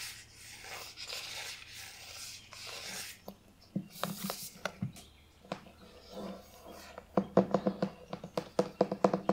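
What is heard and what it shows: Fingertips and long nails rub along the spine and scratch the back cover of a thick, closed Narnia hardcover book with a printed cardboard cover, held upright. A soft, breathy rubbing hiss gives way to scattered dry scratches and taps. It ends in a quick run of louder, sharp clicking scratches.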